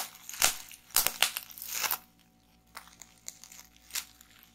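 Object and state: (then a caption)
Plastic bubble wrap. A small roll of clear plastic bubble wrap is held and pressed in both hands while fingers pinch and pop the bubbles. Dense, bright crinkling and crunching is broken by sharp pops for the first two seconds. It then quiets to a few isolated, softer snaps.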